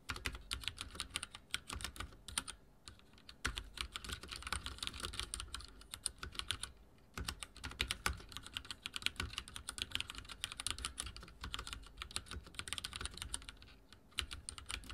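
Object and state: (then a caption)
Mechanical keyboard with plastic keycaps. Fingertips type continuously on a backlit mechanical keyboard with dark plastic keycaps, producing a rapid stream of bright, crisp clicks and clacks with a soft low thump beneath each keystroke. Each keystroke dies away almost instantly, and the typing pauses briefly near 2.5, 7 and 14 seconds before resuming.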